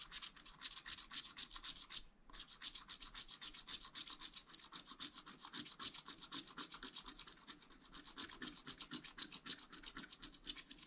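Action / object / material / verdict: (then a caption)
scrape / coated scratch-art paper sheet scratched with a wooden stylus / coated paper / none. A wooden stylus rapidly rubs and scratches across a black-coated scratch-art paper page in a spiral pad. The result is a fast, steady run of dry, bright scraping strokes, with a brief pause near the two-second mark.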